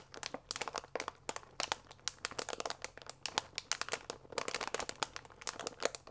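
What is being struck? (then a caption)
Paper pasta bag with plastic window. A full paper fusilli bag with a plastic window lies flat and is rubbed and pressed with both palms and fingers. It gives off dense, bright crinkling and crackling in quick, sharp bursts that rise and fall throughout, with no lingering ring after each one.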